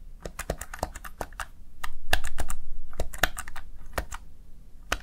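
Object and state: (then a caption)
Plastic gaming keypad being typed on. Fingertips press the backlit plastic keys of a Razer Tartarus Chroma gaming keypad in quick typing. Short, dry clicks and taps come in a fairly steady, fast patter, each with a low thump underneath, swelling slightly louder in the middle of the run.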